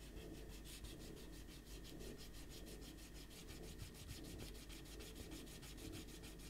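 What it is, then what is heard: Eraser rubbed on paper sheets. A handheld rubber eraser is rubbed vigorously over a pencil drawing on a stack of white printer paper on a table, while the other hand holds the sheets flat. Rapid back-and-forth strokes make a steady, bright scratchy rustle with a low rumble underneath, continuing evenly throughout.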